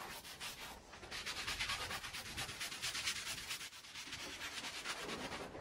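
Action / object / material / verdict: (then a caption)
scrape / woven fabric rug scrubbed with a plastic-bristle brush / fabric / none. A small green plastic-bristle hand brush scrubs in circles by hand over a small, wet, soapy oval red fringed woven fabric rug lying on the floor. The result is a steady, bright, scratchy rubbing hiss with loosely rhythmic strokes that swell and fade throughout.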